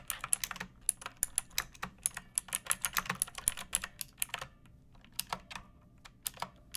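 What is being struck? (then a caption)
Plastic mechanical keyboard. A pink plastic mechanical keyboard with round backlit keycaps and a hollow body sits on a wooden surface and is typed on with long painted nails and fingertips. About 34 sharp, bright keystrokes come in quick, uneven bursts, with a brief pause after about four and a half seconds. Each click is dry and short, with a light hollow plastic clack.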